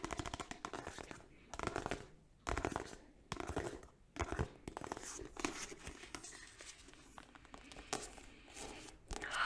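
Long nails fitted with ornate gold metal nail caps tap and scratch along the spine and then the glossy card front cover of a thick paperback copy of "Slumdog Millionaire" held in one hand. Quick bursts of dry clicking taps alternate with scratchy, papery rasps that come through quietly, with short pauses between the bursts.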